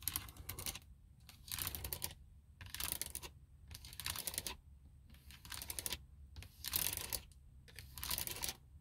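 Long nails scratch and rub a textured plastic car dashboard panel near the vent, a hollow plastic shell. Bursts of dry, bright, raspy scratching alternate with short quiet pauses over a steady low hum.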